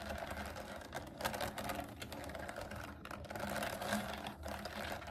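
Long nails tap and type rapidly on a pastel plastic mechanical keyboard with round keycaps resting on a table. The result is a dense, continuous clatter of bright plastic clicks over a faint low rumble, with short swells in intensity.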